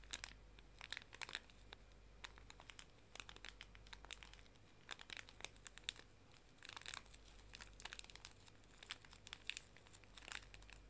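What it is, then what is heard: Plastic-film pocket tissue pack. Fingernails tap and scratch the plastic film of a small, full, pink pocket tissue pack, then the pack is squeezed and crinkled in both hands. The result is a quiet, steady stream of bright, sharp crinkles and crackles with short clicks and very little ring, over a faint low hum.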